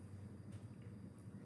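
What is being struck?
Nothing is struck.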